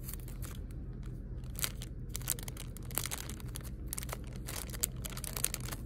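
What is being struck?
Foam sticker sheet in a plastic sleeve.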